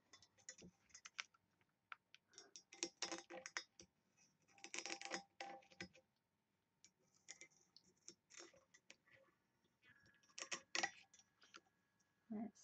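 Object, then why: Small engraved brass box. Long nails scratch and tap a small hollow engraved brass box with a ring handle. Quiet bursts of bright, dry clicks and scratchy rasps come in uneven clusters separated by brief silences. Each tap dies away almost at once, with very little low end.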